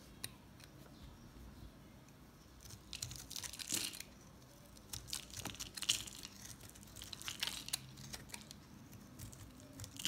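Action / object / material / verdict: scrape / bar of recycled soap chips scraped with a metal blade / soap / none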